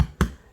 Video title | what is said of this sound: Sourdough Bread -- No Dutch Oven | Jadi roti tandanya kalau udah mateng nih kita ketuk belakangnya. Kalau bunyinya kopong seperti ini itu udah mateng.